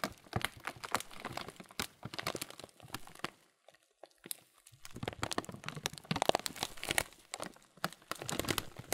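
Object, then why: Clear plastic bag filled with oats and chocolate pieces. Fingertips and palms slowly squeeze and rub a clear plastic bag of muesli full of oats and chocolate pieces. The result is dense, bright plastic crinkling mixed with cereal crunching, with a brief near-silent pause around the middle before the crinkling resumes.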